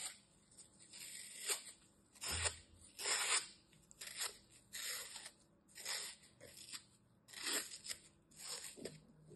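A metal utility knife cuts and scrapes chunks from the edge of a small, solid green floral foam piece with glitter dents. Eight dry, crunchy scraping bursts come at an uneven pace, bright and hissy with almost no low end. Each one dies away quickly into near silence.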